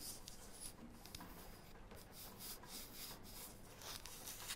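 A small, flat, round, solid light wooden disc is held in both hands and turned while long painted nails rub and scratch across it. The result is a quiet, continuous scratchy rubbing with a bright, hissy edge and a soft low rumble underneath, with a few brief scrapes standing out.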